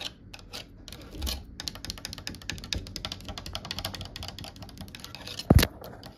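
Long nail tips tap rapidly across a solid, varnished, grooved wooden cabinet door panel, making a dense stream of short, dry clicks with a low woody thump beneath them. One louder knock stands out near the end before the tapping trails off.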